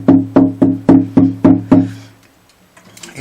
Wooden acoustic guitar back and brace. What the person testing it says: You can't hear the buzzing very bad, but I can hear it here